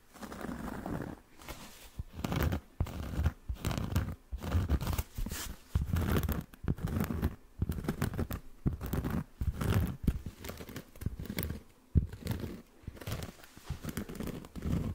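Fingertips and short nails scratch the surface of a round, flat, palm-sized solid cork coaster or trivet held beside a foam-covered microphone. The result is close, dry, rasping scratches in short bursts separated by brief pauses, heavy in low rumble with very little bright content.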